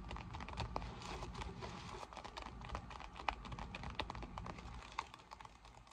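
Long nails tap and scratch the glossy surface of a folded, deflated PVC vinyl inflatable pool lounge lying flat and empty. The result is a steady stream of quick, dry crinkly taps and scratchy rustling, with a few sharper clicks standing out over a soft low rumble.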